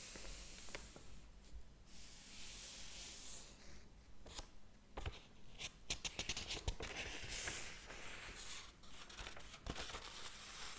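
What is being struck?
Paper pages of a thick hardcover book.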